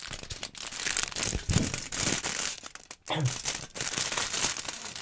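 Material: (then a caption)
Aluminum foil. A thin crumpled sheet of aluminum foil is held in both hands in front of a microphone and crinkled and crumpled with the fingers. The result is a dense, continuous crackling and rustling, bright and hissy in the highs with some lower body. There is a brief near-silent pause around the three-second mark.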